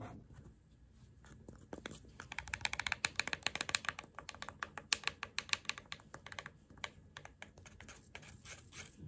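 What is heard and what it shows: Fingertips and short nails tap and scratch a small roll of clear plastic adhesive tape with a hollow ring. Quiet, rapid, bright clicks and light scratches come in uneven bursts, each dying away almost instantly.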